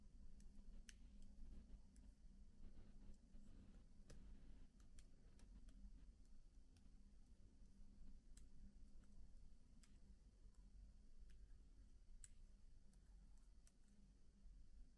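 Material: Plastic.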